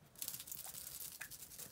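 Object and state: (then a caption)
Bronzer bottle with a loose piece rattling inside. A liquid bronzer bottle is shaken, and a loose piece inside rattles around in a quick run of soft, bright, clicky taps. The taps are quiet and close together, ending with a slightly louder tap.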